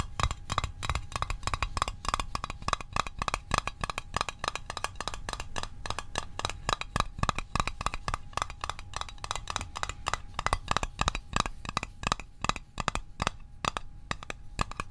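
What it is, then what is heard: Small metal mint tin. Fingertips and nails tap rapidly and steadily on the edges of a small, hollow metal Altoids mint tin. Each tap is short, dry and clicky, with a bright metallic ping around 1.2 kHz that dies away almost instantly, over a soft low thump.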